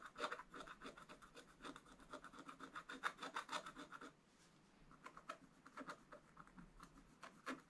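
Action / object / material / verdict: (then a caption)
scrape / wax-coated scratch art paper scratched with a wooden stylus / waxed paper / none. A wooden stylus scratches lines into the black wax coating of a page in a spiral scratch art book. Quick, dry scraping strokes with a raspy midrange and bright edges come in a dense, uneven run for about four seconds. After a brief near-silent pause, sparser individual strokes follow.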